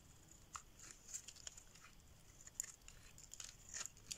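A solid pink rectangular bar of dry soap, held in the hand, is shaved with a metal blade, forming curls. Quiet, bright, crisp scraping and crackling with short sharp ticks recurs over a faint high hiss, with little low end.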